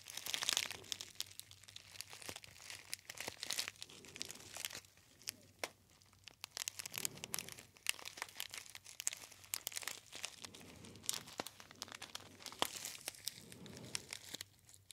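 A gold metallized foil tea bag pouch with a white label is crinkled by fingertips right beside the ear. Bright, crisp crackles and snaps come in irregular bursts over about fifteen seconds, with brief softer lulls between them. The sound is almost entirely high-pitched, with very little low end.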